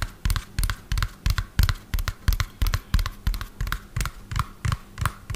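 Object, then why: Hollow plastic toy truck. Fingernails tap quickly on the underside and wheels of a lime-green hollow plastic toy dump truck held upside down. The result is rapid bursts of hollow, low thumps with bright clicky edges, which die away quickly, over a faint steady hum.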